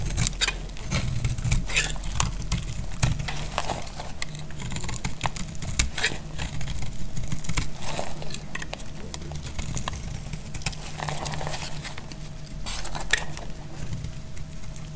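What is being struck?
Bar of soap cut with a metal blade.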